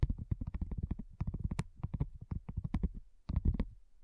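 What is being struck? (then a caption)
Thin silicone coaster. Long nails and fingertips tap rapidly on a flat, round, pink dotted silicone coaster that is thin and solid. The taps are soft, muffled thuds with a low, dull body and very short decay, coming in quick, uneven bursts with a brief pause near the end.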